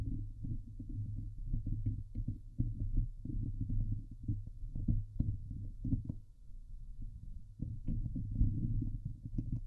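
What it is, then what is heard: Metal mesh microphone grille being scratched. Long painted nails scratch the hollow steel wire-mesh grille of a Blue Yeti microphone head. The result is a dense, muffled run of low, thumping scrapes and rustles over a steady low hum, with almost no bright content.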